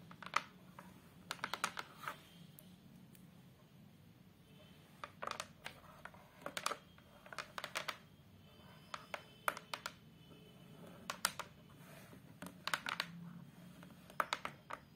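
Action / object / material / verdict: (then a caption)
tap / hardboard photo frame back panel / hardboard / none. Long multicolored acrylic nails tap and scratch with their tips on the brown fiberboard (hardboard) back panel of a photo frame, a thin, flat, solid board with a wire stand, lying flat. Quick bursts of sharp, dry, bright clicks die away instantly, separated by quiet pauses over a faint low background hum.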